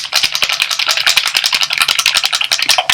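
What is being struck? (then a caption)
Small glass dropper bottle of liquid foundation. A small glass dropper bottle of Laura Mercier Smooth Flawless Fluid Foundation, a very liquid, watery foundation, is shaken hard, as it must be shaken well before use. This produces a rapid, steady run of bright, high sloshing rattles with no low end. The sound reveals the thin liquid inside.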